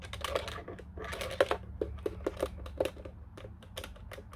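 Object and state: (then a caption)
Plastic telephone keypad. Fingertips tap the buttons and case of a black plastic office telephone keypad. A quick, uneven run of short, dry plastic clicks with a mid-pitched knock stands out over a steady low hum, each tap dying away almost at once.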